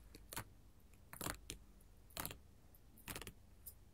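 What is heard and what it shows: A flat sheet of small square pink, yellow, orange and clear glass mosaic tiles on a table is tapped and scratched with long, pointed gold metal filigree finger-claw jewelry. Several short, bright clicking and scraping bursts come at uneven intervals, with a light metallic jangle from the jewelry's chains. A faint low hum sits underneath throughout.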